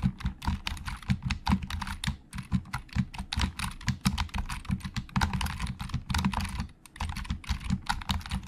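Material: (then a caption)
Plastic. Both hands type with their fingertips on a hollow black plastic Logitech keyboard. It makes a fast, steady stream of short, dry clacks with a deep, hollow thump under each keystroke and a faint bright click on top. The typing runs for about eight seconds with only a brief pause near the end.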